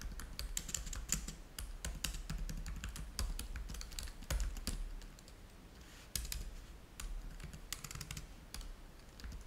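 Fingertips type on the keys of a black plastic laptop keyboard, producing a steady stream of short, dry clicks with quick high ticks and a low thud under each keystroke. The typing pauses briefly around the middle before resuming at a lighter pace.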